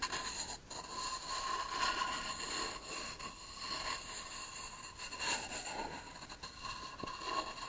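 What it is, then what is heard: Beech wood board. A short reed cylinder is tapped, tilted and scraped against a solid beech plank held flat. The result is a continuous, bright scraping and rubbing texture with a steady tone near 1.1 kHz and soft irregular taps. It stays at a fairly even, quiet level throughout.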